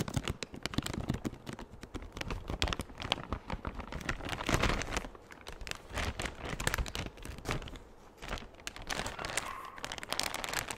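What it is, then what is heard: Thin clear plastic bag being crinkled. A large, empty, thin clear plastic bag is crinkled and stretched with the fingers. It makes dense, continuous crackling crinkles, with many quick, sharp snaps that carry bright, high hiss over a low rustle. The crinkling swells in bursts and eases briefly near the middle and end, with no lingering ring after each snap.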